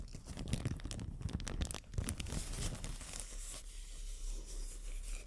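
A thin, empty white matte plastic bag is crinkled and rubbed between fingers with long dark nails. Dense crackling and rustling bursts come in quick, uneven pulses, then ease into a softer, steady crinkle with a low rumble underneath.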